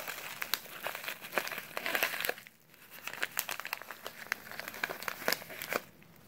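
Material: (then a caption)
Kraft paper. A small, filled brown kraft paper instant oatmeal pouch is turned over and crinkled by latex-gloved fingers. Dense, bright crinkling and sharp crackles fill the clip, easing into a brief hush midway before the crisp rustling picks up again and fades out quietly.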